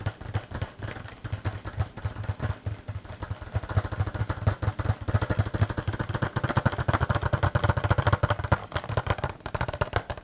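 A small green cardboard box with a clear plastic front window and a figure inside is held in both hands and tapped and scratched with fingernails. A rapid, continuous run of short, dry taps carries a low, hollow thump, with a scratchy rustle that grows louder and busier in the second half.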